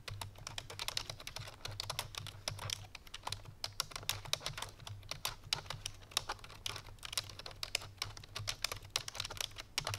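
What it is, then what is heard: Plastic computer keyboard. Fingertips with long painted nails rapidly press the keys of a full-size black plastic computer keyboard resting on a white fur rug. The fast typing makes a dense stream of short, bright, clicky taps with no ring, over a steady low hum.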